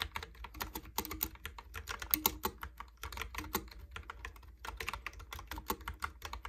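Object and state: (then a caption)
Plastic keyboard typing. Fingertips type and tap on a Logitech keyboard with round pink and white plastic keycaps, producing a quick, steady run of short, dry clicks with bright, crisp tops. Each click dies away almost instantly over a faint low rumble, with a few sharper, louder taps standing out from the even patter.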